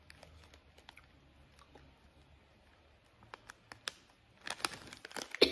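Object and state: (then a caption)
Plastic candy pouch. Fingernails tap and scratch the surface of a small, apparently filled Skittles candy pouch made of printed plastic film. Sparse, bright ticking taps give way to denser crinkling and scratching that grows louder toward the end.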